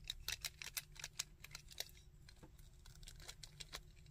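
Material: Plastic.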